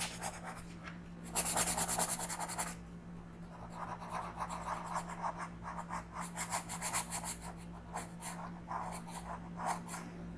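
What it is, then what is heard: Pencil coloring on paper. A wooden orange colored pencil makes small scratchy coloring strokes on the thin paper page of a coloring book lying flat on a table. The scratching comes in quick rhythmic pulses, loudest and brightest in an early burst, then continues in softer strokes. A steady low hum sits underneath throughout.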